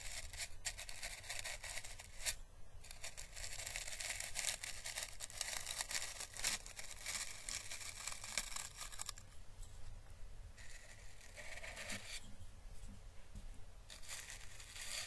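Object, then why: Dried Chinese lantern seed husk. A small, dried, orange-red papery Chinese lantern husk, hollow and thin-walled, is held in the fingers and brushed with the bristles of a thin paintbrush. The result is a steady, bright, crackly rustle of fine papery scratches and soft crinkles over a low, constant rumble.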